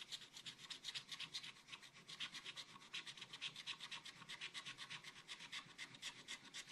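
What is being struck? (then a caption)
Coated scratch paper scraped with a wooden stylus. A wooden stylus scratches across a black-coated scratch art paper page to fill in a macaron. Quick, steady back-and-forth scratching strokes, about four per second, give a bright, dry, hissy rasp with almost no low end.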